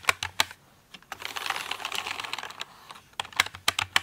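A full-size pink plastic mechanical computer keyboard with pink keycaps, lying in front of the mic, is tapped and typed on with fingertips and long nails. Sharp, bright, clicky keystrokes open the clip. A stretch of quicker, blended rattling typing follows, then more separate crisp taps, all with very little low end and almost no ring after each hit.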